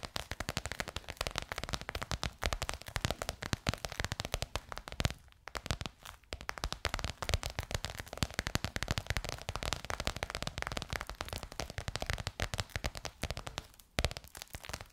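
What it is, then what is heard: Croc-embossed faux leather cover tapped with nails. Long nails tap fast on a bronze-gold crocodile-embossed faux leather cover stretched over a curved hollow form. The result is a dense, crackling stream of short, dry clicks with a hollow low thump beneath and little ring. Brief gaps break the run near the middle and near the end.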